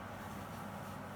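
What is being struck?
Nothing is struck.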